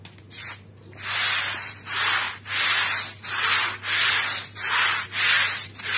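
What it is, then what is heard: Wet woven rug being scrubbed. A long-handled stiff-bristle broom scrubs a small, wet, muddy fringed woven rug lying on a plastic sheet in steady back-and-forth strokes. Each stroke makes a bright, hissing scrape with short pauses between, over a faint low hum.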